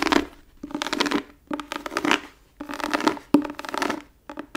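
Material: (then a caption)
Leather. Long nails scratch and tap across an embossed brown tooled leather book cover held in the hands. The result is bursts of dry, papery rasping with a low-mid body and bright edges, broken by a few sharp clicks from the taps, with short gaps of near-silence between strokes.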